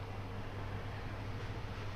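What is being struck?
Nothing is struck.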